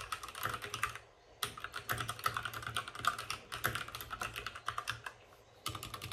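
Both hands type rapidly with the fingertips on a white compact mechanical computer keyboard with plastic keycaps and RGB backlight, set on a desk with a padded wrist rest. The result is a quick stream of sharp, short, bright plastic clacks with a midrange click tone, broken by two brief pauses near 1 second and 5 seconds.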